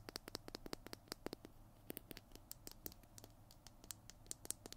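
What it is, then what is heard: Plastic glue stick tapped and scratched. Fingernails tap and scratch the surface of a Tombow PiT glue stick, a small hollow plastic tube with a blue cap, held in both hands close to the mic. About thirty quick, dry clicks with a high, bright edge come through, separated by soft scratching. Each tap dies away almost instantly over a faint low hum.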